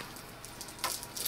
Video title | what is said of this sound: Dollar Store Candy - Experiment 15 | taffy should not make that sound